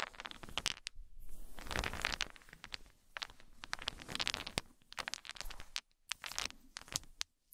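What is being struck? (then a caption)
Wooden beads and balls. Many solid, round wooden balls and beads, some of them drilled, are shaken in cupped hands and dropped together. The result is dense bursts of bright clicking and rattling, with short quiet gaps between handfuls.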